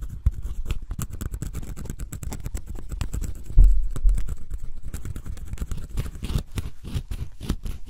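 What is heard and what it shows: A pointed wooden stick scratches and scrapes the black scratch-off coating on cardboard jigsaw puzzle pieces, close up. Quick, irregular scratchy strokes come in a dense run, with a louder, heavier stretch of scraping midway before it settles back to steady scratching.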